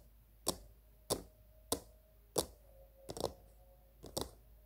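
Long green-painted nails tap the sides and top of a small, hollow, glossy pink plastic cylindrical container resting on a table, using both hands. Four sharp, evenly spaced clicks are followed by two quick flurries of taps, each with a brief hollow ring around 500 Hz and bright clicky edges over a quiet background.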